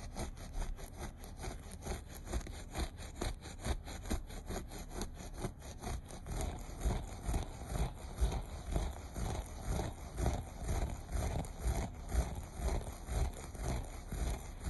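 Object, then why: Looped carpet pile. Fingertips and short nails scratch the loops of a beige looped carpet in quick, repeated strokes. A steady stream of rough, rasping scrapes comes about twice a second, each one short and dry. The sound sits deep and muffled, with little brightness.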